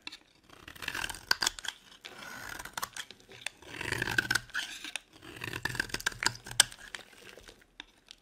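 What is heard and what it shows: A metal blade shaves a solid cream bar of dry soap held in the hand, cutting off crumbly curls. Bursts of crisp, bright scraping and crunching rise and fall in several passes, with brief quiet gaps between strokes.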